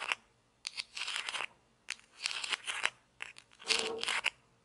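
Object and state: Plastic toy pizza slice.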